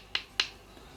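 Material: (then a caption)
Frozen dough. Frozen breaded cheese balls are knocked together twice, giving two sharp, bright clicks with almost no ring. The hard, stone-like sound shows they are completely frozen solid.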